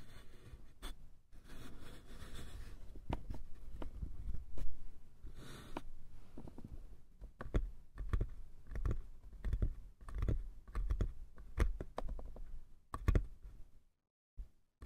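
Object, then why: Small light wooden box. Fingertips and nails of both hands tap quickly on the sides of a small, hollow, light-wood box with a metal latch. The result is a rapid, uneven stream of dull, low knocks mixed with sharper, brighter clicks, each dying away almost at once. The tapping briefly drops to near silence just before the end, then a few final taps follow.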